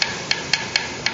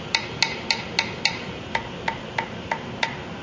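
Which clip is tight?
The first.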